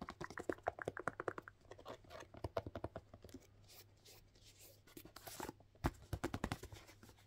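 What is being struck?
Suede lace-up work boot.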